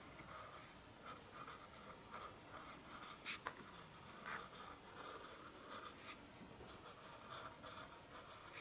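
A hand draws with a red pencil on white drawing paper resting on a wooden table, making quiet, repeated scratching strokes. The scratching is soft and bright, with a few slightly louder strokes standing out partway through.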